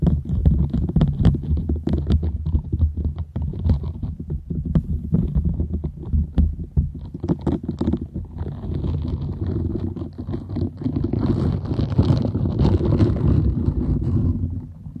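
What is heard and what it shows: A round, green, palm-sized silicone scrubber sponge with small bristles, solid and flexible, is held close to a microphone and scratched and rubbed with long nails and fingertips. The result is a dense run of quick, deep scratching and rubbing sounds with a low rumbling body and a soft, brighter hiss in the second half.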